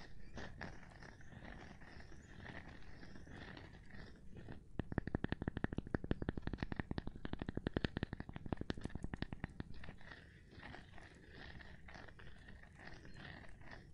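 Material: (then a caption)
Cork. A gloved hand taps on a cork board, producing soft, dull, low-pitched taps with little ring. The clip opens with quiet scratchy rubbing, then a rapid run of taps from about 5 to 10 seconds, and ends with the softer rubbing again.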